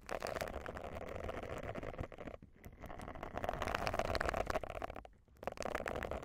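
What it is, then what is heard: Silicone face scrubber pad. Long nails scratch the bristles of a round, solid, thin silicone face scrubber pad held over a microphone. The result is a dense, rapid, scratchy rustle centred in the mid range with some bright crackle. It dips briefly twice before resuming.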